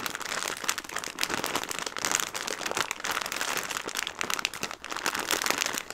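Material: Plastic film.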